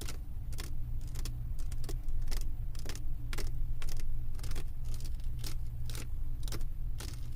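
Long acrylic nails tap and scratch across the resin drills of a flat diamond painting on canvas board. A rapid run of short, bright clicks and scratchy ticks sits over a steady low hum.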